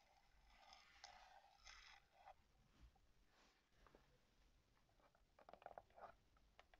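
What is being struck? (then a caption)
Paper endpaper over a hardcover book board. Long yellow-painted nails and fingertips scratch and tap the yellow paper endpaper of a large hardcover book lying open over its thick board cover. Soft, dry papery scraping strokes with bright, hissy edges come first, and a cluster of quick, light taps follows near the end. Everything stays quiet throughout.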